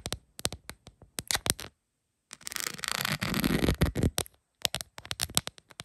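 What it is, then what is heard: Rhinestone plastic phone case. Long pointed acrylic nails tap on a rhinestone-covered plastic phone case lying flat, making quick, sharp, bright clicks in an uneven rhythm. After a short pause, a stretch of continuous raspy scratching follows, then more crisp taps.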